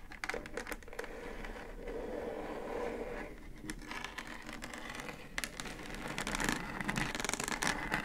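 Long acrylic nails scratch and tap the top of a pink plastic Divoom Times Gate Bluetooth speaker, a hollow housing with a round centre control. Rapid, irregular clicky taps mix with dry scratching and crinkly scraping across the plastic, growing denser and brighter toward the end.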